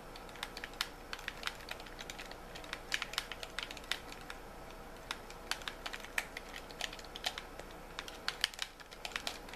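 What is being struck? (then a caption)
Plastic game controller. Fingertips tap and click on the buttons and shell of a white, hollow plastic gamepad held in both hands. Quick, bright plastic clicks come in an irregular stream of dozens of short, dry hits with almost no ring. They sound over a quiet, steady background hiss.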